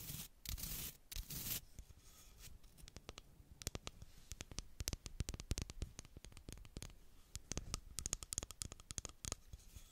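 A small baby hairbrush with soft bristles and a solid wooden back is tapped and scratched with long black acrylic nails. It opens with a few seconds of dense, bright scratching bursts, then settles into a long run of quick, sharp, dry taps with almost no ring, mixed with faint scraping.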